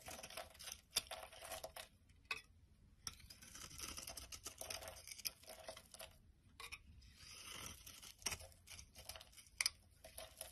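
A utility knife blade scrapes crumbly shavings from the edge of a solid, dry, hand-sized orange soap bar held over a wooden surface. The sound is a run of bright, dry, crisp scrapes and crunchy crumbles with almost no low end, broken by brief quiet pauses between strokes.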